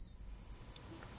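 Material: Nothing is struck.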